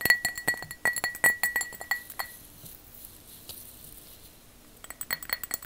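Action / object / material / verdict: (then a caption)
tap / glass object tapped with fingernails / glass / none. A glass object is tapped with long fake "witch" fingernails, making about 20 quick, bright clinks with a short ringing tone near 2 kHz. A fast run of taps fills the first two seconds, then comes a quiet pause before another burst of taps at the end.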